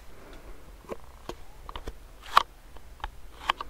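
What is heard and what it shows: A fingernail taps and scratches on a medium clear plastic hand sanitizer pump bottle filled with gel, close to the mic. Several short, dry, irregular clicks and scrapes sit over a quiet background. The louder taps are sharp and bright, centred around 1.1 kHz, and stop instantly with no ring.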